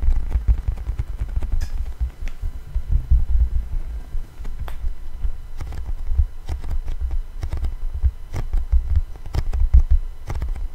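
A thin, solid black 12-inch vinyl LP is held upright in both hands close to the mic while fingertips and nails tap and scratch across its grooved surface. Frequent soft, dull taps with brief crisp scratch clicks sit over a deep, throbbing low rumble. The taps are too dense to count.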